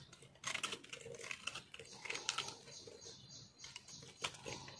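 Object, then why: Soap bar scraped with a metal knife. A small solid piece of green speckled soap is held in the fingers while a metal knife scrapes and chips crunchy flakes off it. The result is a quiet run of dry, bright crackling scrapes and clicks with no ringing.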